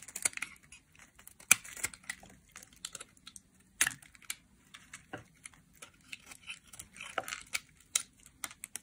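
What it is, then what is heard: Dry soap bar being shaved. A solid, dry purple soap bar held in the hand is shaved into flakes with a metal utility knife blade. The result is a quiet run of dry, crisp scraping and crackling, bright and high with very little low end. Sharp, short cuts stand out from softer rasping strokes.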